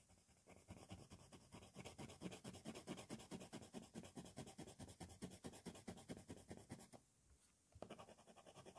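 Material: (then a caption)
Paper. A black 4B wooden pencil held in the fingers scratches its graphite tip across a flat sheet of white drawing paper taped to a board, shading a dark sky with short, dense hatching strokes while a loose cover sheet rests unworked on the paper. About 41 quick, rasping strokes follow in a steady rhythm, with a brief pause near the 7-second mark before the scratching resumes.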